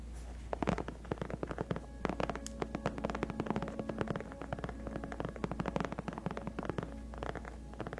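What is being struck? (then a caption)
Padded faux leather gaming chair backrest. Long painted acrylic nails on both hands scratch and tap the large, cushioned white padded faux leather (PU) backrest of a gaming chair. A quiet, steady low hum runs under a dense stream of short, dry taps and rasping scratches, with faint humming tones drifting through.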